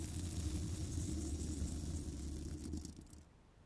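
A small bristle pipe-cleaning brush, held in long black nails, scratches across the hollow woven steel mesh grille of a large condenser microphone. The result is a continuous, deep rumbling scrape with a faint bright hiss above it, which fades away over the last second.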